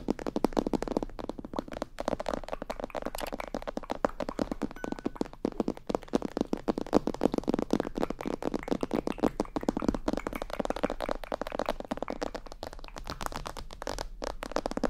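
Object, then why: Plastic mannequin head. Long painted nails rapidly tap and scratch around the ears and top of a life-size glossy black plastic mannequin head, likely a hollow binaural microphone head. The result is a dense, steady stream of short, dry clicks and scrapes with a hollow low-mid body around 250 Hz and very little bright content.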